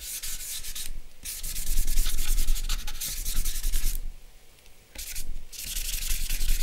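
Fingers and charcoal rub across a flat sheet of drawing paper bearing a charcoal portrait, making dry, scratchy shading strokes with a bright, hissy texture over a low, dull rumble. The strokes come in loose, uneven bursts, with brief pauses near the one-second mark and a longer quiet stretch around four to five seconds before the rubbing resumes.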